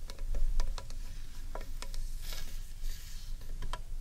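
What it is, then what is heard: Wooden bowl tapped with fingernails. Long painted nails tap the outer surface of a large, hollow, carved wooden bowl held upright in one hand. Quick, dry clicks and knocks with a bright edge die away almost at once over a steady low rumble.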